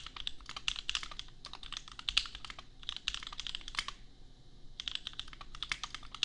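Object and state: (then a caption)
Plastic mechanical keyboard typing. Bare fingertips of both hands type on a custom 60% mechanical keyboard with Gateron Milky Yellow switches and red and white plastic keycaps, set on an anime desk mat. Dense, bright, fast clacks cluster around 3 kHz with very short decay, with a brief pause partway through before typing resumes.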